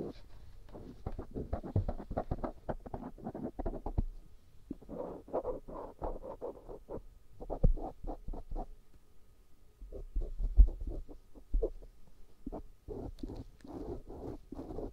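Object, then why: Silicone ear microphone rubbed with a cotton swab. A black cotton swab scratches and rubs inside the ear canal and along the upper folds of a life-size white silicone ear microphone made of solid, soft, rubbery material. The result is a dense run of short, muffled scratching and rubbing strokes, heavy in the low end. Brief lulls come around the four- and ten-second marks, and a few sharper bumps stand out.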